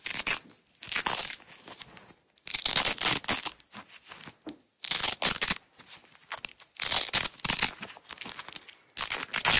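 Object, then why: Nylon hook-and-loop strap. A partly unrolled yellow nylon hook-and-loop (Velcro) strap is peeled apart and rewound by long-nailed fingers. Bright, crackling ripping comes in bursts of varying length, separated by short quiet pauses and softer rustles.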